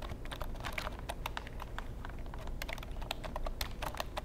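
Fingertips type on the keys of a long black plastic computer keyboard held in front of the microphone. Rapid, crisp plastic clicks and taps run steadily throughout, with bright ticks over a constant low rumble.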